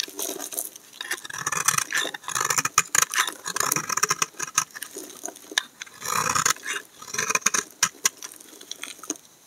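A utility knife blade repeatedly scrapes thin shavings off the edge of a solid cream laundry soap bar held in the hand. The result is a dense run of crisp, bright scraping and shaving strokes with almost no low end and no ring, the bursts coming in uneven clusters throughout.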